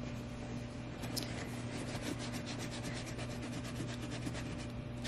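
A small suede cleaning brush is rubbed back and forth over the side and toe of a tall, tan, hollow suede sheepskin boot in Bailey Button style, with its soft leather surface held on a lap. The result is a steady, soft, rhythmic scratching of quick bright brush strokes at an even level, over a constant low hum.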